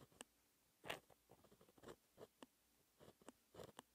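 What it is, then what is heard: Gel pen writing on textured paper. A white gel pen held in the fingertips writes math equations on a flat sheet of black, lined, textured paper. It makes a series of short, dry, scratchy strokes and taps of varying strength, with bright, papery highs and a mid-range tone around 650 Hz. The strokes are separated by brief quiet gaps.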